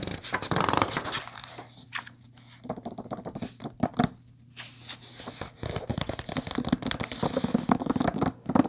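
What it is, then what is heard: Paper book pages. Long painted nails rapidly scratch and tap the printed paper pages of an open book lying on a table. The result is a dense stream of crisp, dry papery taps and scrapes with bright, hissy texture. A quieter stretch in the middle carries a faint steady low hum.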